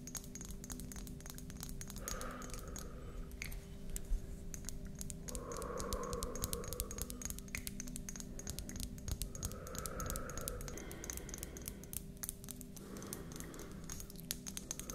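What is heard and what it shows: Long manicured nails tap and scratch along a long, solid, translucent white selenite crystal wand held in both hands close up. Quick, dry, bright clicks come in a dense, irregular stream, with soft scratchy swells over a steady low hum.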